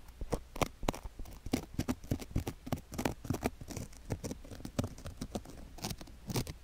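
A thin wooden stick scratches near the canal and along the rim of a silicone ear microphone covered in sugar granules. Rapid, gritty crunches and sharp clicks follow one another closely, with a close, heavy low end and bright crackle on the strongest scrapes.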